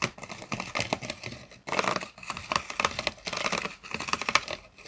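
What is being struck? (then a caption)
Plastic bottle partly filled with water. A clear, hollow PET plastic water bottle, partly filled with water and with a plastic straw through its white cap, is held upright while fingertips tap and scratch its sides. The result is a rapid, dense run of dry, bright crinkly clicks and scrapes with a faint mid-range ping around 1.3 kHz. A brief lull comes before the tapping resumes.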